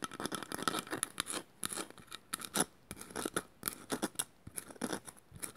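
Long rounded nails scratch across the woven underside of a small, light, hollow woven bamboo bowl held upside down. It makes a quick run of dry, crackly scratching bursts with bright, hissy texture and little low end, separated by short quiet gaps. Each stroke stops dead with no ring.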